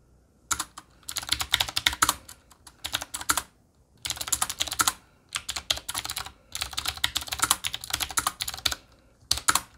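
Both hands tap with their fingertips on a desk-sized, solid Qwerkywriter typewriter-style mechanical keyboard, which has a black metal body and round chrome-rimmed plastic keycaps. Bright, crisp key clicks come in rapid bursts of typing separated by short pauses, each click dying away almost instantly with very little low end.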